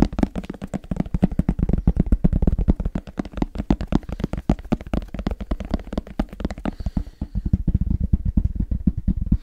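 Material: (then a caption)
Fabric. Fingertips tap rapidly on the fabric-covered shell of a medium-sized, black, semi-rigid, hollow headphone case held in both hands. The result is a dense, steady stream of short, dull, low thumps with very little brightness, each dying away almost instantly, continuing throughout the clip.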